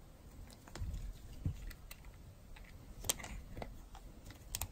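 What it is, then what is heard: Dry bar soap being carved. A metal blade carves pieces off a solid, dry pink-and-white striped bar of soap held in the hand. Short, crisp, bright cutting clicks and scrapes come one after another over a soft low rumble, each dying away almost instantly.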